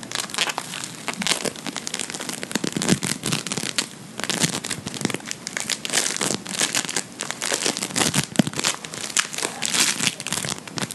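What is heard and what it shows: A fist-sized lump of blue beaded play foam (polystyrene microbead floam), soft and solid, is held in one hand and squeezed, pinched and rubbed with the fingertips of the other. It gives off dense, bright crackling and crinkling as the beads pop and shift, in rapid, uneven bursts with no ring after each snap. The crackle runs steadily through the whole clip.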